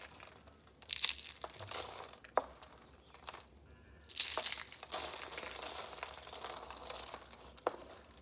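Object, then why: Soap curls. Thin, brittle red soap curls rolled into rose shapes are squeezed and crushed by hand into flakes on yellow paper. Dry, bright crinkling and crunching crackles in bursts, with a few sharp snaps between quieter pauses. The curls break down into small flakes.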